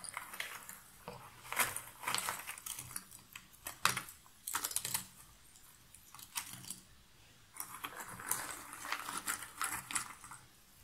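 Fingers rake through a pile of cardboard jigsaw puzzle pieces in a shallow box lid and pick pieces up, making bursts of light, dry rustling and clicking. The sound is bright and crisp with almost no low end. The bursts come in irregular clusters with short pauses between them.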